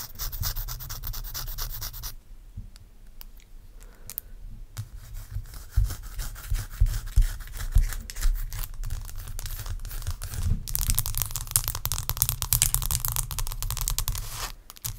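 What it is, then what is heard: Ice block. Long acrylic nail tips scratch a large solid block of ice resting on a towel, producing rough, bright rasping with a low, muffled rumble underneath. Dense scratching opens the clip, thins to sparse clicks and softer rubbing, then builds back into sharper, quicker strokes that continue until a brief quiet end.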